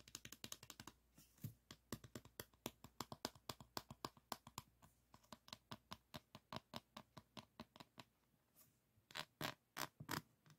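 Fingertips of both hands tap and scratch across the beaded surface of a small framed diamond painting board covered in plastic resin rhinestone drills. About fifty quick, crisp, dry clicks come in a steady, fast patter with bright, scratchy edges and almost no ring. After a brief lull near the end, a few louder taps follow.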